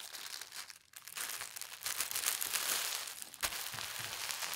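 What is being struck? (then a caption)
Thin tissue paper sheet. A thin, folded polka dot tissue paper sheet is folded again and its creases are pressed with the fingertips. It gives a steady, bright crinkling and rustling with a brief quiet moment near the start and a sharper crackle later on.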